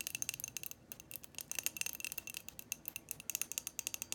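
Long painted fingernails tap and scratch a hand-sized, hollow, frosted white glass light bulb with a metal screw base, held up close. A rapid, uneven series of crisp, bright clicks and light scrapes plays out with almost no low end. Each tick is dry and dies away at once, with no lingering ring.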